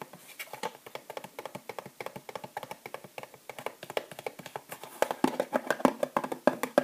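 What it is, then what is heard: Plastic and cardboard bath bomb box. Long nails and fingertips tap fast on a small bath bomb package held in the hands: a clear plastic sleeve with a cardboard band and three bath bombs inside. About fifty short, dry, mid-pitched clicks and taps come in an uneven rapid stream with almost no ring. They grow louder and brighter near the end.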